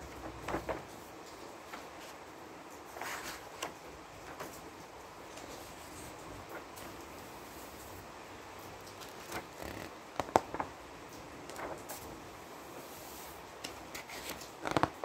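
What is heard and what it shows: A flat palm rubs across the thin, printed, illustrated pages of a large open book, then fingertips lift and turn a page. Quiet, soft paper rustling and brushing run throughout, with scattered brief crisp swishes and a few sharp crinkles near the middle and at the end as a page is turned.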